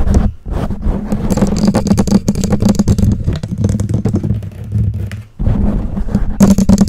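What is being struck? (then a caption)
Foam microphone windscreen. Long nails on both hands scratch the black foam windscreen of a condenser microphone. The result is a dense, continuous run of scratchy, rustling friction with a heavy low-frequency rumble, broken by brief quiet dips near 0.4 and 5.3 seconds.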